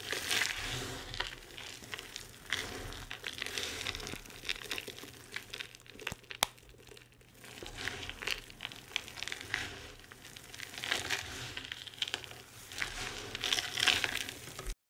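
Hands with long red nails crush handfuls of a pile of dry crumbled bar soap shavings and chunks (white, green and purple) between the palms, letting pieces drop, then pinch and rub the crumbs with the fingertips. The result is a dense, bright, crinkly crunching with many tiny crackles and soft patters of falling bits. It swells and fades in waves over about 15 seconds.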